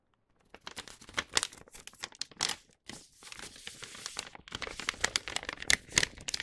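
An empty paper gift bag with a star print, lying flat, is rubbed with the palm, then lifted and unfolded by fingers. The result is dense, bright crinkling and crackling with sharp, papery rustles, and almost no low end.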